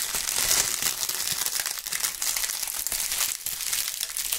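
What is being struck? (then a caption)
Maple leaves. Two gloved hands crumple, rub and crush bunches of dry brown maple leaves close to the microphones. The result is a steady, dense, bright crackling and crunching with almost no low end, swelling slightly in bursts as the leaves are squeezed.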